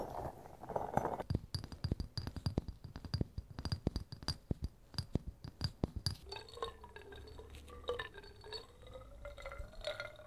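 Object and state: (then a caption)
Glass jar of thick liquid. A small glass jar with a polka-dot printed metal screw lid, filled with amber liquid or gel containing flakes, is held and turned in the hands while fingertips and nails tap the glass. A rapid run of short, dry clinks and taps fills the first six seconds. It then gives way to softer, wavering glassy tones as the jar is turned.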